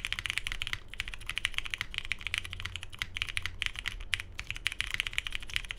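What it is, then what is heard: Mechanical keyboard with plastic keycaps. A 75% Tomo mechanical keyboard with lubed Cherry MX Hyperglide Brown switches, a hollow navy case, polycarbonate plate and cream and grey plastic keycaps, sitting on a desk mat, is typed on continuously with the fingertips of both hands. Rapid, dense, bright clacks with very short decay form a steady stream of keystrokes over a faint low hum, with a few brief pauses between bursts.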